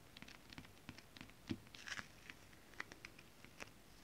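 Long acrylic nails tap and scratch across flat holographic mermaid-scale printed fabric. The result is a quiet, uneven string of short, dry clicks with bright crackly edges that die away almost at once. A slightly louder scratchy rustle comes near the middle.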